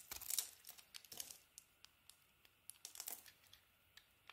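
A utility knife blade scrapes and carves the purple patterned coating off a solid, hand-sized bar of yellow soap held in the hand, peeling it away in curls. The result is a series of quiet, crisp, bright shaving and crackling scrapes with almost no low end: a dense cluster at the start, then more spaced-out strokes.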